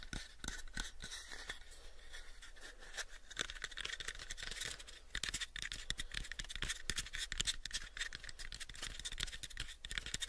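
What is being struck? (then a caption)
Small wooden box. Fingernails scratch and fingertips tap on the sides of a hollow, pale, unfinished wooden box, about a 7-inch cube. The sound is a quiet, steady stream of dry, bright scratching broken by many quick, short taps that die out almost instantly with no ring.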